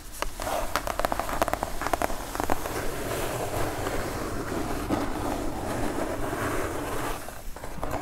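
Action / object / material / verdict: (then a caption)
scrape / kraft cardboard mailer box / cardboard / none. Long nails on both hands tap and scratch across a kraft cardboard mailer box. A few sharp, dry taps come first, then a steady, dense rustling scratch with a low cardboard thud underneath.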